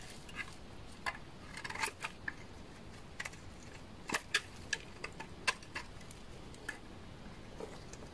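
A utility knife blade shaves and scrapes the face and edge of a solid beige bar of dry laundry soap held in the hand. Short, crisp, bright scraping clicks come at irregular intervals over a quiet hiss, each dying away almost instantly.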